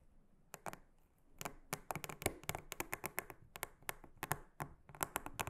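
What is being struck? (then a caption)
Silicone honeycomb trivet mat. A small silicone-headed brush is swept and tapped across a large, flat, solid round blue silicone honeycomb trivet mat. The result is a quiet, irregular series of short, dry clicks and crackling taps with bright, crisp edges that stop almost instantly, separated by a faint hiss.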